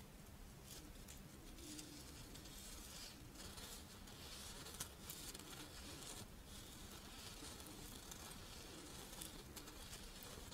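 A pink, fish-shaped strawberry rice wafer monaka rests in one palm while the long nails of the other hand scratch and tap its embossed surface. The result is a quiet, steady, dry crackling patter with bright, papery texture and occasional slightly sharper taps over a low background hum.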